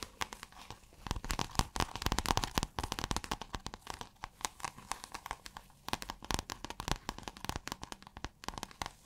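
Long acrylic nails scratch a rolled or folded piece of pale blue, scale-textured iridescent fabric. The result is a dense run of quick, dry crinkling scratches and clicks that spread from a low rumble up to bright highs. Each one stops dead with no ring, and the intensity rises and falls throughout.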